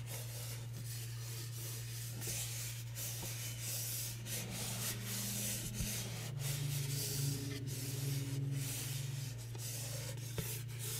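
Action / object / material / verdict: scrape / small cardboard gift box with printed paper surface / cardboard / none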